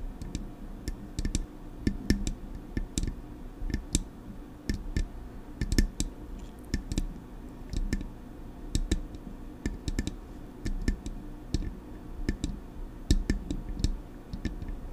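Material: Metal.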